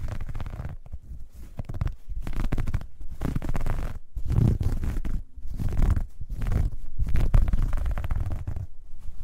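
Long dark red nails scratch across the ribs of a soft, hollow, dark grey ribbed knit fabric bag as it is held and pressed into folds over a fur rug. The scratching is a dense, muffled, deep rustle, almost entirely low in tone, with brief pauses between bursts.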